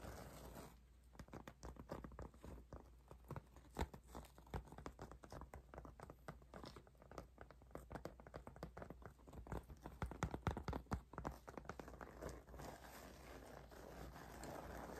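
Long acrylic nails rapidly tap and patter across the surface of a flat, apparently empty white faux leather cosmetic pouch held in both hands. The result is a quiet, dense stream of short, dry clicks and soft pats at an uneven rhythm, with a faint low hum underneath.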